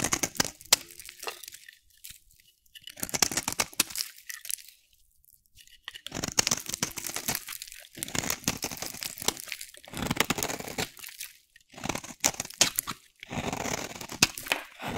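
A solid bar of dry pink soap, held in the hand, is shaved with a metal utility blade. The result is bright, crisp scraping and cutting crunches that come in bursts of rapid crackles, separated by short silent pauses.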